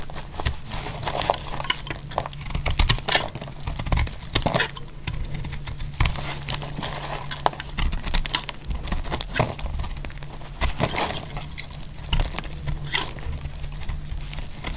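A utility-knife blade slices pieces off the edges of a solid, dry pink bar of soap held in the hand. Each cut makes a crisp, crumbly crackle and a scraping crunch with bright highs, coming in quick, uneven bursts over a steady low hum.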